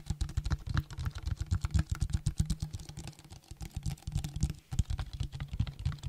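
A clear plastic drink bottle with a label, held in the hand, is tapped quickly with fingertips and nails. The result is a rapid, steady run of short, dull taps, mostly low thuds with faint clicky ticks on top.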